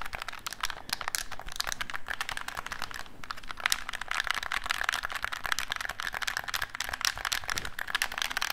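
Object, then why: Plastic game controller. A black hollow plastic gamepad is tapped and scratched with fingertips and nails while its buttons are pressed. Dense, rapid, crisp clicks and scratchy taps overlap for the whole clip with a bright, brittle edge. Each click is short and dry, forming a steady, busy clatter.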